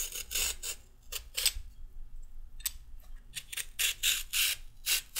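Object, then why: Raw carrot scraped with a peeler. A handheld peeler scrapes a peeled raw carrot in rapid strokes, with the pile of peel on a wooden table. Each stroke makes a short burst of dense, bright rasping, separated by quiet gaps and a faint low hum.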